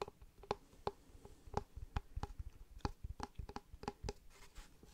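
Fingertips and nails tap and scratch the face of a solid, light-coloured rectangular block of wood or fibreboard held in one hand. About fifteen short, dry taps come in an irregular rhythm, each with a soft low thump and a hollow mid-range knock that dies away almost at once. Faint scratching fills the quiet gaps between them.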